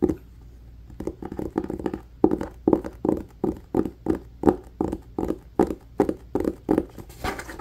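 Fingertips and nails quickly scratch and tap the top edge and cloth cover of a solid red cloth-bound hardcover book held close. The result is a fast, irregular run of dry, dull taps and rough scratchy bursts, centred in the low-mids with almost no ring after each stroke.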